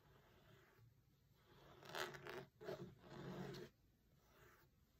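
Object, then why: Linen cloth book cover. A fingertip traces and taps across the grey linen fabric cover, printed with text, of a closed hardcover book resting on a marble table. After a quiet start, a few dry, scratchy rubbing bursts swell up with a faint bright hiss, then fade back to near silence with only a soft scrape at the end.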